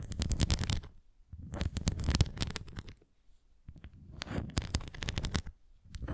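Long nails scratch the bumpy surface of a red plastic flying disc toy and tap its rim, making bursts of dry, crackly scratching and quick clicks separated by short pauses. The sound is mostly low and rumbly with bright, sharp ticks on top.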